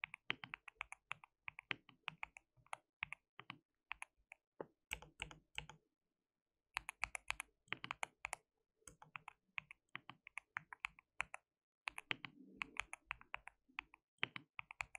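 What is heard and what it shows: Fingertips of both hands type on a white plastic mechanical keyboard with translucent keycaps. Quick bursts of sharp, bright, clicky keystrokes die away instantly and are broken by brief pauses. The typing stays quiet throughout.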